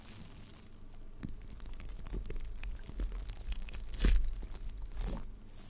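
Blue glittery tinsel garland of metallic plastic is stretched between the hands and rubbed and crinkled with the fingertips close to the microphone, possibly brushing the mic grille. The result is a steady run of soft crinkling and rustling over a low rumble, with brighter bursts of texture and a louder swell near the four-second mark.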